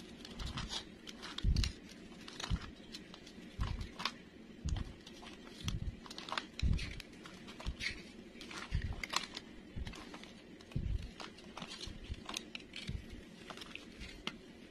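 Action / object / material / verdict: scrape / bar soap shaved with a metal knife / soap / none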